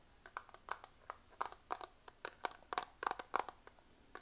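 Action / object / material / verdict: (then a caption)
tap / plastic eyeshadow palette / plastic / none. Fingernails tap and scratch a small, flat, clear plastic eyeshadow compact, a hollow case with makeup pans inside, held in both hands close up. About twenty quick, dry, clicky taps come in an uneven rhythm, with a hollow plastic tone around 1.1 kHz and bright crisp edges. Each tap stops instantly with no ring, over a quiet background.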